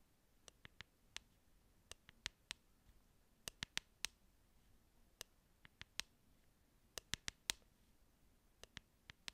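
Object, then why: Clear plastic hairbrush with hollow handle. Long nails tap and click on a transparent, glittery plastic hairbrush with a hollow handle. About 22 sharp, dry, high-pitched clicks come in irregular bursts, with almost no ring after each one, against a quiet, faintly hissing background.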